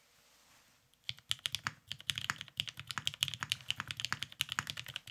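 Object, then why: Mechanical keyboard with plastic keycaps. A beige tenkeyless Salamander mechanical keyboard with a cerakoted case, lubed Vintage Black switches and plastic keycaps sits on a desk mat while two hands type fast on it with their fingertips. After about a second of near silence, a rapid stream of sharp, bright clacks follows, each one short and dry with a faint low thump beneath.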